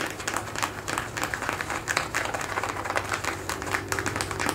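Fingertips and short nails scratch and rub the surface of worn blue denim jeans stretched over a raised knee and thigh. A close series of quick, dry scratching bursts with a bright, gritty fabric texture sits over a faint steady low hum, each stroke fading quickly.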